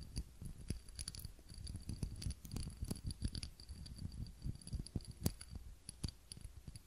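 Fingernails tap and scratch the sides of a small, clear, textured glass cup holding a lit tealight candle, held in both hands. Quiet, dull low taps and soft scratching come in a quick, irregular run, with occasional bright clicks and faint, steady high tones above.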